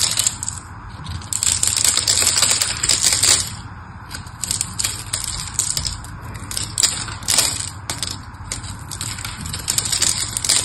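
A small metal knife blade scores a grid into the face of a palm-sized, solid rectangular pink bar of soap held in one hand, then shaves off small cubes. Dense, crisp scratching and rapid crackling ticks sound bright and high, rising and falling in bursts as the blade cuts. Small cubes come away while the bar itself stays the same.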